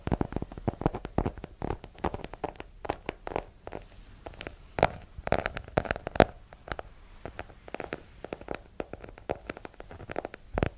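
A small, solid hardcover book with a yellow cover is held in one hand and tapped with long nails. Many quick, irregular taps and clicks follow each other, dull and hollow-sounding around 650 Hz with a low thump and bright nail ticks. Each tap dies away almost at once, with brief pauses between bursts.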